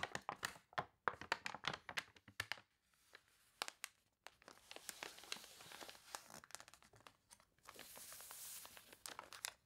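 Long-nailed fingers scratch across an open, water-wrinkled paper toy catalog on a table and turn its crinkly, water-warped pages. Dense, sharp crackles and crunches in the opening seconds give way to softer, hissy scraping and rustling broken by quick crinkling snaps, all bright with little low end.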